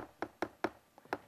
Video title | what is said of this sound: Stucco and EIFS Inspection Tips | it sounds Hollow that's a clue you may have an eifs system